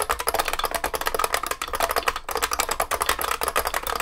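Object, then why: Vintage beam spring keyboard, plastic keycaps in a metal case. Both hands type continuously with their fingertips on a large vintage beige IBM 3278 beam spring keyboard with plastic keycaps and a metal case. About two dozen sharp, clacky keystrokes come in a rapid, uneven stream. Each has a bright ringing ping near 1.1 kHz that dies away almost at once, with very little low end.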